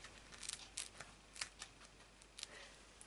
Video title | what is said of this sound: Thermomix® TM31® / TM5® - DDR Brötchen | richtig schön knusprig hört ihr es